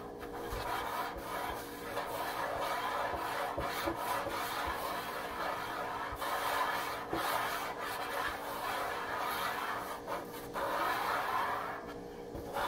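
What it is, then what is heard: Wooden countertop. A wooden countertop is scratched and tapped, giving a continuous dry rasping scrape with a few sharp taps cutting through it. The scratching stays steady and mid-pitched throughout, over a faint constant low hum.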